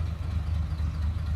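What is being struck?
Nothing is struck.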